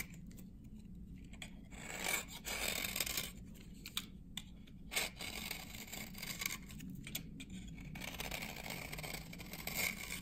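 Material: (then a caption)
Glycerin soap. A dry, translucent amber glycerin soap bar from 1978, held in the hand, is cut and scraped by a metal blade with a red handle, building up curls on the blade. The blade makes a steady, bright, dry scratching and rasping sound with short, louder scraping bursts over a faint low hum.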